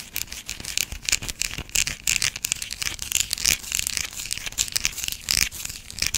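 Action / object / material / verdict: scrape / solid bar of soap scratched with long nails / soap / none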